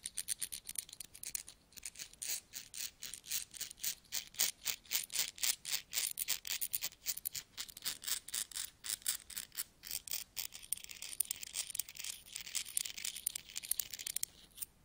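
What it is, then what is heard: Pile of metal coins. Fingertips hold a few mixed small solid metal coins and rub them against each other over a pile of coins on a carpet. Quiet, bright metallic clinking and scraping comes in quick, fairly steady strokes, with almost no low end. Toward the end the strokes blur into a denser, continuous jingling shimmer.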